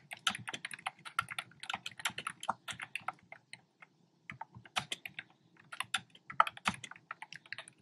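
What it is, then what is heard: Plastic keyboard keys, hollow-sounding. Fingertips with short nails type on a black plastic keyboard with hollow, round retro-style plastic keycaps in cream, pink and red. The clip is a quick run of short, dry, bright clicks that stops for a brief pause near the middle, then resumes.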